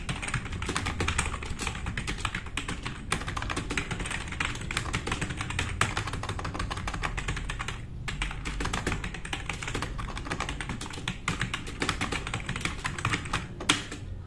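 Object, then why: Plastic mechanical keyboard. A black RGB-backlit tenkeyless plastic mechanical keyboard with plastic keycaps, resting on a wooden desk, is typed on fast with the fingertips of both hands. A dense, steady stream of bright, clicky keystrokes rides over a low rumble, with short decays and a few louder accented taps near the end.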